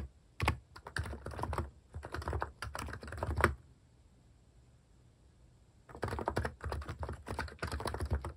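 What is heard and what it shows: Fingertips type on a compact electro-capacitive keyboard with pink, cream and brown plastic cat-themed keycaps and a solid housing, resting on a wooden desk. Quick bursts of soft, deep, muted key clacks come in rapid runs, stop for a couple of seconds of near silence, then resume. Each keystroke is short and dull, with little ring.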